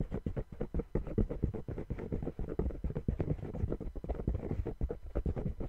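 Fingertips tap and scratch the patterned rubber outsole of a brown sneaker held upside down. The result is a dense run of quick, dull, muffled taps with a soft scratchy texture, mostly low and thumpy with almost no bright content, each tap dying away almost instantly.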